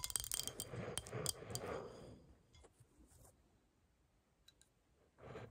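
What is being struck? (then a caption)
Textured glass bowl. Long nails scratch and tap the base and sides of a small, clear, hollow textured glass bowl turned upside down. Fast, dense scratching and sharp, bright clicks fill the first two seconds, then fade to sparse faint taps before a brief burst of scratching returns at the end.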